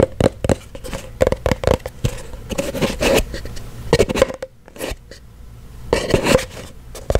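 A small, empty-looking cylindrical kraft-paper cardboard box with a lid is knocked and tapped with fingertips and nails, giving a rapid run of short, dull, hollow taps with a resonant tone around 520 Hz, mixed with light scratching and scraping. Near the end, the lid is lifted off with a soft papery scrape.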